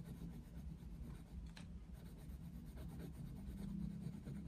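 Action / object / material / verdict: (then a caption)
scrape / wooden coloured pencil on a paper colouring page / paper / none. A wooden coloured pencil shades a Mickey Mouse colouring book page lying on a desk, making repeated rubbing strokes across the paper. The sound is a quiet, steady, soft scratching with most of its energy low, plus one brighter, rasping stroke about one and a half seconds in.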